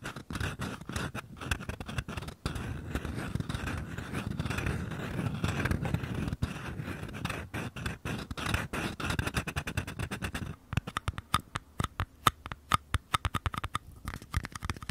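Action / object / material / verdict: scrape / small paper cup / paper / none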